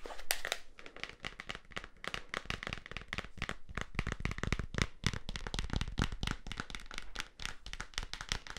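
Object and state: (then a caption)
Plastic safety goggles tapped. Clear plastic safety goggles with vents and a black strap, a hollow, lightweight frame, are held in both hands and tapped with fingertips and nails. The result is a rapid, continuous stream of dry, crinkly plastic clicks and taps with sharp, bright attacks that die away almost instantly, over a steady low rumble.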